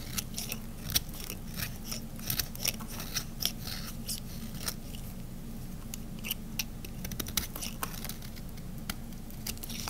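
A small metal blade scrapes and carves along the edge of a solid, hand-sized cream bar of ivory and white dry to semi-dry soap. It produces rapid, repeated crisp cutting strokes with bright, sharp clicks over a steady low hum. Each stroke ends almost instantly.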